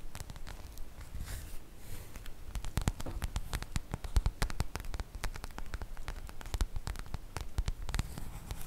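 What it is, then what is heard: Printed cotton fabric makeup bag. Long nails scratch the surface of a sprinkle-print cotton fabric makeup pouch, making a dense, steady patter of crisp scratchy clicks and rustles. Sharp, bright ticks stand out over a soft, low rumble, and the level swells and dips as the scratching goes on.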